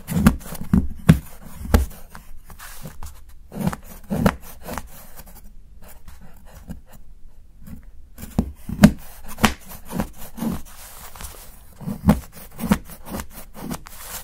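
A steel knife blade scrapes thin shavings from the edge of a solid milk chocolate bar held under the fingertips. Repeated short, dull, low clicks and chops come with soft rasping scrapes between them, quiet and close with little ring.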